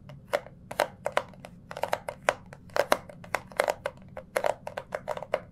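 A small, hollow, rectangular orange cardboard jewellery gift box, held in both hands, is tapped, squeezed and scratched with the fingertips. The result is a quick run of about two dozen dry, sharp taps with a hollow tone near 600 Hz and bright edges, mixed with faint crinkling as the box is pressed.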